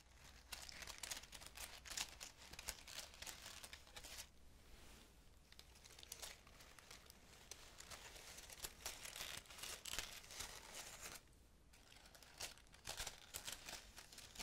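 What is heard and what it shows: Long fingernails rub and scratch the leaves of a green laurel leaf wreath with a red ribbon, held up close. Dense, crisp crinkling and scratching fills the clip in bright, high bursts, broken by a few brief quieter pauses.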